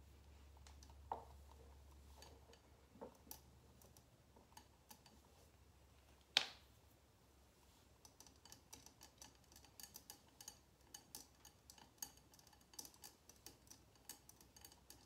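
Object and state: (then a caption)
Wax-filled glass candle jar. Long painted nails on both hands tap and click against the sides of a small, solid glass candle jar filled with red wax, sitting on a table. A steady string of quiet, bright, dry clicks with no ring follows, broken by one sharper, louder click partway through.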